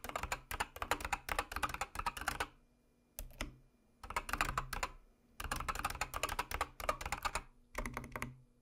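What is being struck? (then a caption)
Mechanical keyboard with plastic keycaps. Rapid typing on a full-size backlit mechanical keyboard with white, orange and dark plastic keycaps and a red "DO NOT PRESS" key, struck with long manicured nails and fingertips. Bursts of fast, bright clicky keystrokes with short, dry decays are separated by brief pauses, with a faint low hum underneath.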